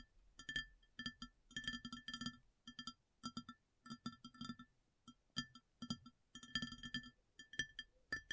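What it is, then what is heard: Ceramic plate tapped with nails. Long nails tap a round white ceramic plate placed upside down with a hollow underneath, in quick irregular bursts of clicks. Each tap is a short, bright ceramic tick with a high ringing tone near 1.8 kHz that dies away almost at once, with only a faint low thud.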